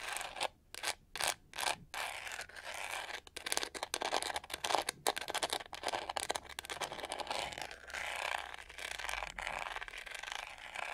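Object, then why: Plastic detangling hair brush with studded back. Long nails scratch and tap the studs on the hollow, pyramid-textured back of a pink-to-gold plastic detangling hair brush. Bursts of dry, bright scraping and quick clicky taps come in rapid, uneven runs, with short gaps early on and near-continuous rasping later.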